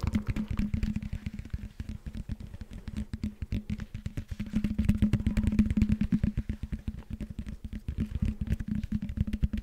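Fingertips and nails rapidly tap and scratch the foam blocks of a hollow, blue, knobbed foam roller held in both hands. The result is a dense, irregular run of soft, dull thumps with a steady low hum under them, and a light scratchy texture on top.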